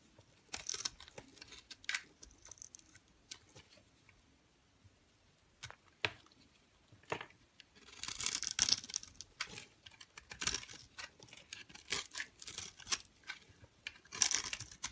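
A metal utility knife with a red handle scrapes and carves crumbly cubes off a solid yellowish bar of soap, scored into a grid of small squares and held in the palm. The audio is a quiet, bright sequence of crisp scraping, crunching and crackling cuts, clustered in short bursts with silent pauses between them and almost no low end.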